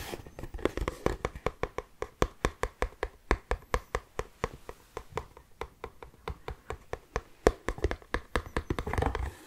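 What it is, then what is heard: Cardboard tissue box. An orange Kleenex cardboard tissue box, hollow with tissues inside, is held in the hands and tapped and rubbed with the fingertips. About 43 quick, dry, hollow taps are heard, with a low, muffled body and very short decay. A denser rubbing scratch swells near the end.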